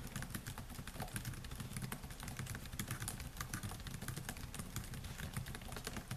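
Fingertips type on the black plastic keys of a silver laptop, producing a rapid, continuous stream of short, bright key clicks. A steady low hum sits beneath the tapping throughout.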